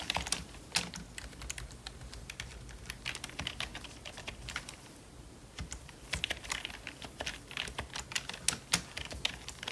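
Gloved fingertips type continuously on the letter keys of a full-size black plastic membrane computer keyboard that sounds hollow. The result is a steady stream of quick, dry, bright clicks and taps that die away almost instantly. The typing eases to a softer patter midway before picking back up with sharper keystrokes.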